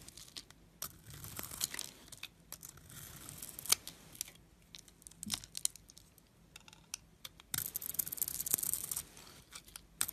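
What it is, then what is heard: Bar of soap being shaved. A solid silver glitter bar soap with an exposed white interior is held in the fingers and shaved with a metal blade, so white flakes come off. Quiet, bright scraping and crisp crackling come in short bursts, with a denser stretch of shaving near the end.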